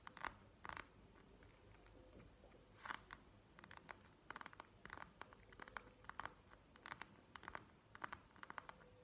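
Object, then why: Plastic gel-bead eye mask. Long nails tap and scratch a plastic gel-bead eye mask resting on a table, with one hand doing the tapping at the end. Bursts of short, dry clicks and scratchy rustles come in clusters, each bright and quick with almost no ring. A faint low hum sits underneath.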